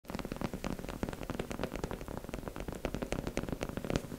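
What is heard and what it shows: Long pink acrylic nails tap rapidly on the face and cheeks of a life-size beige plastic mannequin head with a smooth matte surface, likely hollow, held in both hands. The result is a dense, continuous patter of quick, dull taps, weighted toward the low end, with short clicky attacks and almost no ring.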